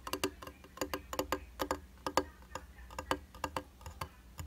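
Fingertips and short nails tap a round glass tabletop makeup mirror with a white plastic frame and solid flat glass in a fast, ticking rhythm. About twenty short, bright clicks with a dull knock underneath sound quietly, each dying away almost at once.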